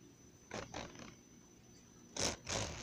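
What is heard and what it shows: Fingertips and nails scratch and tap along the metal spiral wire and cover edge of a blue one-subject notebook with a glossy plastic cover, held close up. A quick run of soft, bright scratchy taps is followed after a pause by two louder, longer rasping scrapes. A faint steady high tone sits underneath throughout.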